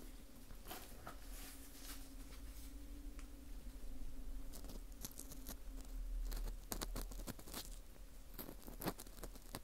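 An orange plastic earpick scrapes inside the hole of a small, hollow ring of dry, porous baked wheat gluten (fu) held in a gloved hand. Quiet, irregular crackling scrapes and crisp little crunches come in quick bursts over a steady low hum. Sharper bright clicks cluster toward the end.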